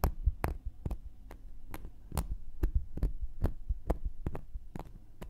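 A round, flat, solid cork coaster held in one hand is poked and scratched across its surface and edge with a thin wooden knitting needle. Quick, dry taps with brief bright clicks sit over a steady low hum and soft scraping, and each tap dies away almost instantly.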